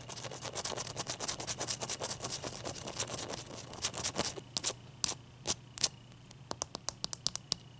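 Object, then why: Ice cube. Long, dark-painted nails rub and scratch the wet surface of a clear, solid ice cube held in the hand. They make rapid, bright, crackly scratching for the first few seconds, which then thins into separate short scrapes and ticks. A faint low hum runs underneath.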